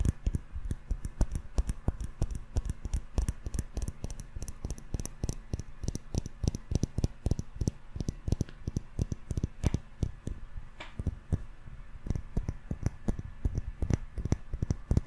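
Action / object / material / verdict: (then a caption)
tap / wax-filled glass jar with metal screw lid / glass / none. A small round glass candle jar filled solid with yellow wax, with a gold metal screw lid, is held close and tapped with fingertips and short nails on its glass sides and lid. The result is a rapid, steady stream of short, dry clicks and soft thuds, heavy in the low end and dying away almost instantly with no ring.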